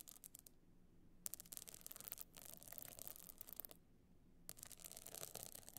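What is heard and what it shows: Long nails scratch across the bumpy surface of a rigid, hollow evening box clutch encrusted with small stone chips. The result is bursts of dense, bright, crackling scrapes, separated by brief quiet pauses over a faint low hum.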